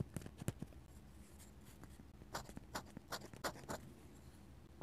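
A steel dip pen nib scratches lines and taps stipple dots on a flat paper sketchbook page. Soft, dry scratches and about eight short, crisp taps stand out over a quiet background, with the sharpest and loudest tap at the very end.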